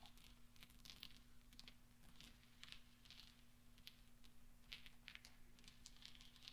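A pile of small solid steel pachinko balls on a velvet cloth is rolled and gathered with the fingertips of both hands. Soft, bright metallic clinks and rattles patter irregularly over a steady low hum, all at a quiet level.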